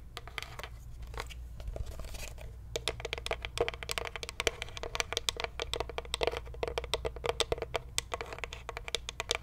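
Long nails tap and scratch a closed, hollow wooden Ashton cigar box with a paper label. A soft scratchy rustle opens the clip, then dense, rapid clicking taps follow, each with a short hollow knock around 450–500 Hz and bright, crisp edges. A steady low hum sits underneath throughout.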